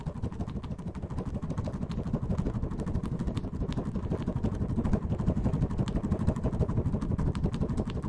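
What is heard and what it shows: A clear plastic bottle partly filled with purple orbeez water beads is shaken vigorously back and forth in a black-gloved hand. The sound is a continuous, low, rumbling slosh packed with rapid, soft clattering ticks. It stays steady for the whole clip and grows slightly louder in the second half.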